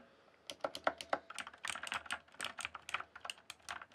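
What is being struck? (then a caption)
Mechanical keyboard with plastic keycaps. Fingertips type on a rainbow-backlit mechanical keyboard with plastic keycaps. After a brief quiet moment, about twenty quick, irregular keystrokes follow, each a short, dry, bright clack with almost no ring or low end.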